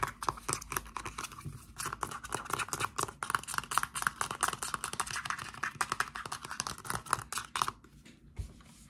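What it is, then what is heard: Plastic shower gel bottle. Fingertips and short nails tap rapidly on the cap and body of a dark blue plastic Axe Wild Mojito and Cedarwood shower gel bottle, hollow with contents inside. The result is a quick, uneven stream of light, dry clicks and ticks with a bright, hollow plastic tone and almost no ring after each tap. The tapping thins out near the end.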